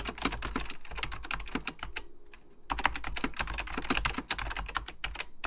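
Fingertips type rapidly on an Apple Extended Keyboard II, a plastic mechanical computer keyboard with beige plastic keycaps and a hollow plastic case. The result is a quick stream of sharp, bright key clicks over a low thump, each dying away almost at once. A brief pause near the middle interrupts the typing before it resumes.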